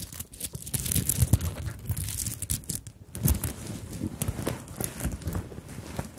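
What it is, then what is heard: Sequined beaded fabric handbag. Long nails tap and scratch across a small fabric handbag covered in sequins and beads, held close to the microphones. Dense, crinkly scratching and rustling mix with soft, low, bassy thumps and bright clicks of the beads and sequins. The sound is continuous and busy, with quick taps and almost no ring.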